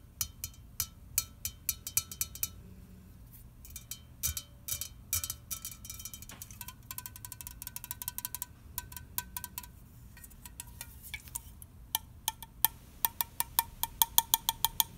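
An unopened red aluminium soda can is rotated in the hand while fingernails tap its lid, printed side and bottom. Quick, bright metallic clicks come in bursts and scattered single taps, each with a short tinny ring around 920 Hz. A faint low hum sits underneath.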